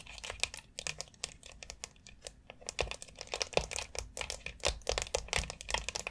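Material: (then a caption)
Plastic. Long acrylic nails scratch and tap between the rounded nubs of a long white, hollow molded plastic foot massage board. The sound is a dense run of quick, bright clicks and crinkly scratches with almost no ring, plus a few duller, deeper knocks.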